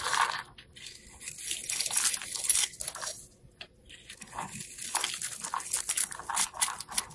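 A craft knife blade scrapes and carves a small, solid dark blue soap bar held in the hand, cutting fine strands off its face. The sound is dry, crisp, bright scraping and crunching in a few bursts separated by brief quiet pauses.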